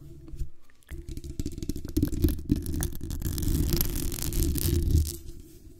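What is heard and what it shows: Long acrylic nails scratch and tap the hollow metal mesh grille and the base of a black condenser microphone. The result is a dense, rapid, uneven rasping and clicking with a heavy, muffled low body and faint bright crackle on top. It drops briefly near the start, then builds and stays busy before fading out at the end.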